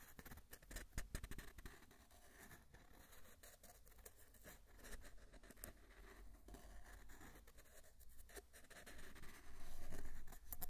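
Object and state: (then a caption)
Cardboard tube, hollow. Fingertips and nails tap and scratch along a long, hollow, empty brown cardboard tube held horizontally in both hands. The result is a quick, uneven patter of soft, hollow, low thuds mixed with scratchy rasps, which grows louder and denser near the end.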